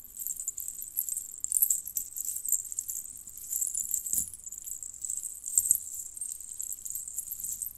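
A necklace made of strands of small, hollow, colored metal jingle bells on a red cord with a metal clasp is twisted and shaken between the fingertips and long nails of both hands. The result is a continuous, bright, high jingling and tinkling, with a few louder shakes standing out.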